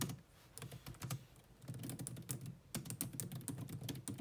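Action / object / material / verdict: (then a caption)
tap / laptop keyboard, plastic keys / plastic / none. Long nails and fingertips type rapidly on the black plastic chiclet keys of a grey laptop keyboard, making a continuous run of quick, dry key taps. The clicks are short with a low, soft thud body and bright tapping edges, and the pace briefly slows near the middle before picking up again.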